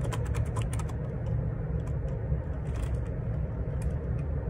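Rapid bare-fingertip typing on a black plastic Perixx Periboard 612 ergonomic split keyboard, full size with a hollow plastic case and plastic keycaps, resting on a grey desk. Quick clacking key presses ride over a steady low rumble that dominates the sound, with brief bright ticks from each keystroke.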